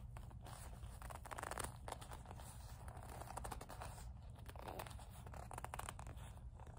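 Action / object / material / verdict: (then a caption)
scrape / leather coin purse with metal frame / leather / none. Long acrylic nails tap, grip and rub the leather of a small black leather kiss-lock coin purse with a metal frame. Quiet, continuous scratchy rubbing is broken by brief tapping streaks, over a steady low hum.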